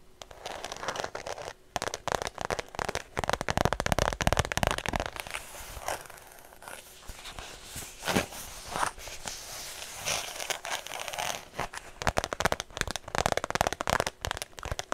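A hollow white faux leather shoulder bag is tapped and scratched with long nails close to the mic. Rapid, dry, crackly taps and scratching strokes come in dense bursts, with short clicks that die away almost instantly and a bright, papery edge over a mid-range body.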